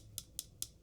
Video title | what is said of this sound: Audio-Technica ATH-ADX7000 Review - Blown Away | If I tap it, little bit of a rattle right there.